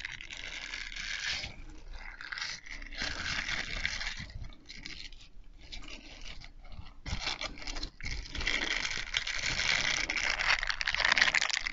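A small grey plastic mesh bath sponge, a loose hollow net puff, is held in both hands in front of a foam-covered microphone and scrunched, stretched and rubbed with the fingers. It makes dense, crinkly scraping and crunching sounds that are bright and mostly high, with brief lulls near the middle and a fuller, louder stretch toward the end.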